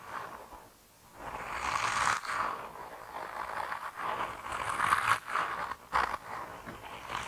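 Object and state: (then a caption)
Squishy rubber toy being squeezed and rubbed. A hand-sized, solid, flexible grey soft rubber mouse toy is held in both hands and squeezed and rubbed with fingertips and thumbs. Its surface gives off irregular, squeaky, squelching rubbery friction sounds that swell and fade, centered in the midrange with some bright hiss above.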